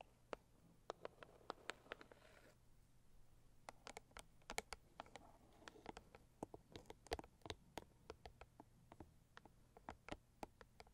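Long purple acrylic nails tap and scratch the lid of a medium-size, hollow, pink floral Saviland rigid cardboard box with unknown contents. About 37 sharp, dry taps ring out in an irregular rhythm, with short soft scratching passages between them. A faint low hum runs underneath throughout.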